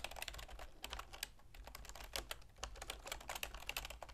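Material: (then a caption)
Plastic. Long manicured fingernails and fingertips tap rapidly on the keys of a full-size black plastic computer keyboard with a silver plastic frame, resting on a wooden desk. The sound is a quick, uneven stream of bright, sharp plastic clicks with very short decay over a faint low hum.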